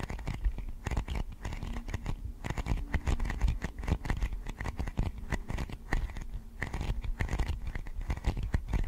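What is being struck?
Thin clear plastic lid.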